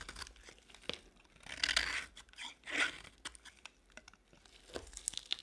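A box-cutter blade shaves crumbly chunks off a solid beige bar of dry soap held in the palm. Short, bright crunching scrapes and crisp ticks mix with two longer, louder shaving strokes, all dry and high with almost no low end.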